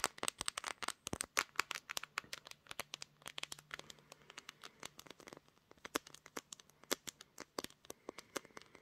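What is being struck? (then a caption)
Smartphone with glass back. Long green nails rapidly tap and scratch the pink glass back of a smartphone held in a tripod clamp, and a finger briefly brushes the camera lens. Dozens of sharp, bright clicks land in quick, uneven bursts with faint crinkly scratching between them. A low, steady hum sits quietly underneath.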